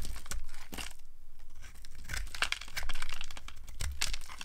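A small blade with a yellow handle scrapes and carves curls and flakes off a solid, rounded, dry pink soap bar held in a hand. Crisp, papery shaving and crumbling scrapes come in quick uneven bursts, with bright crackly edges over a steady low rumble.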